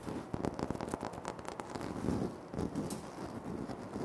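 Fingertips tap and short nails scratch across a flat, solid, speckled granite floor tile. Quick, dull taps with a low-mid body mix with crisp, bright scratching bursts. The sounds die away quickly against a soft, continuous hiss.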